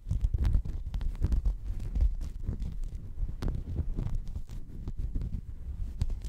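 A checkered woven textile mat held in front of the microphone is scratched and rubbed with fingertips. The result is a continuous low, muffled rustling and thumping that is nearly all deep rumble. Many short scraping strokes and soft bumps run throughout.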